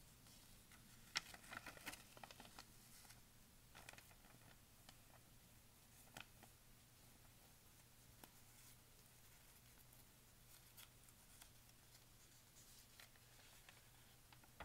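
A large, thin, glossy-newsprint pharmacy advertising flyer lies spread open while its pages are turned by hand, brushed flat with the palm and fingertips, and traced with a thin tool. Quiet, bright paper crinkles and brief crisp ticks come at an irregular pace, loudest near the start, over a faint, steady low hum.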